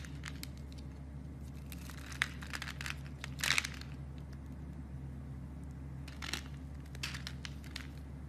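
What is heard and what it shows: A knife blade scrapes cubes off a solid blue soap bar scored in a grid, until the smooth surface shows; the bar is held in a hand with long dark nails. Scattered crisp, bright crumbling and scraping crackles come in short bursts, loudest around the middle, over a steady low hum.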